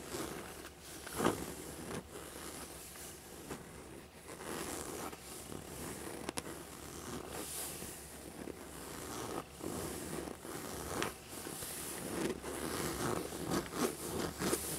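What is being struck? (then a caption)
Faux leather backpack. Fingertips and nails rub and scratch the surface of a small black textured faux leather Toothless dragon backpack with straps, which is hollow. A steady, dry scratching and rustling runs throughout, with a bright, hissy edge. Four sharper scrapes stand out above it.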